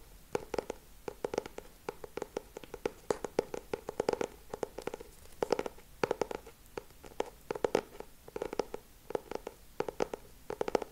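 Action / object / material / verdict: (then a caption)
tap / laminated hardcover book cover / laminated board / none. Fingertips and short nails tap and scratch on the solid back cover of a lilac hardcover notebook with a laminated cover, held upright. Quick bursts of dry, clicky taps come in rhythmic clusters with a hollow mid-range knock around 450 Hz. Each tap dies almost instantly, leaving only faint scratching between the bursts.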